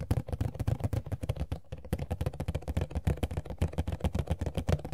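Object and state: Empty cardboard figure box.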